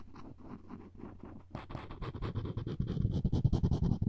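The string of a floss pick is scratched and scraped along the handle of a solid wooden spoon. A soft, low, muffled rubbing starts the clip, then after about a second and a half it turns into louder, quicker scraping strokes with a brighter, gritty edge. The strokes grow stronger toward the end.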